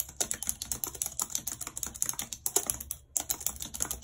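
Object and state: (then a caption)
Plastic computer keyboard being typed on. Long red acrylic nails type rapidly on a white, low-profile plastic wireless keyboard with a full number pad and hollow housing, lying flat on a map-printed surface. About 29 bright, crisp key clicks and nail taps arrive in a quick, uneven stream, each dying away almost instantly. A brief pause just after the three-second mark breaks the run before the typing resumes.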